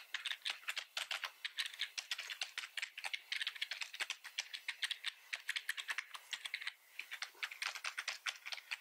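Both hands type fast with the fingertips on a full-size black plastic computer keyboard, making a steady stream of quick, bright, clattering key clicks. The clicks are sharp and dry, with almost no low end, and a brief pause comes shortly before the seven-second mark.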